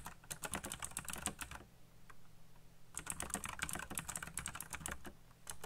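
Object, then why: Plastic mechanical keyboard. Fingertips type fast on a backlit black plastic mechanical keyboard with RGB lighting and hollow key switches. Bursts of sharp, bright clicking keystrokes break off into a short pause with a low steady hum, then resume.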